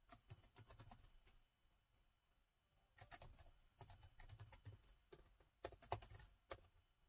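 Fingertips of both hands type on the black plastic keys of a gold metal-look laptop with a hollow body. About 27 quick, crisp clicks with soft low thumps come in three irregular bursts, separated by a quiet pause of over a second.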